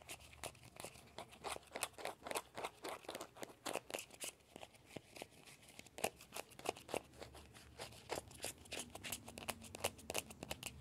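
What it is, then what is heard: Hollow plastic ball. Fingertips and nails scratch and tap the shell of a small hollow orange plastic ball with a yellow stripe. The result is a quiet, steady run of crisp, dry ticks and scratchy bursts with bright, papery highs. Each sound stops almost at once, with no ring.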